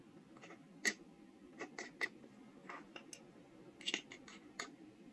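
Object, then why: Small soft stone seal block cut with a steel knife. A steel carving knife cuts and scratches engraved characters into a small, solid, square soft stone seal block held in the hand. About a dozen short, bright, dry scrapes and ticks come at an uneven pace over a faint steady hiss, each fading almost at once. The cuts stay quiet and close, with a sharp, gritty edge.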